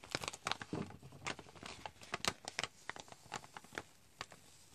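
A medium-sized, partly full chicory drink pouch made of foil-lined plastic is held in both hands and crinkled and squeezed with fingers and nails. It gives a rapid run of sharp, bright crackles and crunches with quiet gaps between them, and each one stops almost at once.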